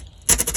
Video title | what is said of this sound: Magnepan MGI Glue Removal Pt1 | you can hear how crispy and crunchy this is